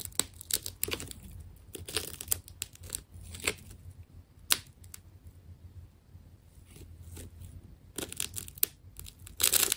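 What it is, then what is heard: Wound plastic tape ball being cut and peeled. A small blade cuts into a wound black and white plastic tape ball and peels back its layers. Bright, crackly tearing and crinkling bursts come in uneven clusters with sharp snaps between quieter stretches, over a faint steady low hum. The peeling grows loud and dense again at the end.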